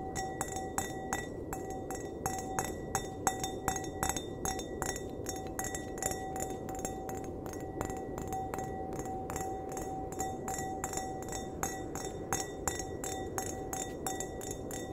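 Fingernails tap the bowl of a clear, empty glass wine glass in a quick, steady series of ringing clinks. Each short clink has a pitch near 760 Hz with bright overtones. The taps sit over a constant hiss of broadband noise.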